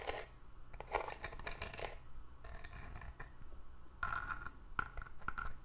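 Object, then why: Small cardboard gift box with ribbed paper sides. Long nails scratch and tap the ribbed paper sides of a small hollow hexagonal cardboard gift box with a glitter base as it is held and turned. Dry, bright scratching bursts alternate with quick, sharp taps that die away almost instantly, some carrying a thin ring around 1.4 kHz.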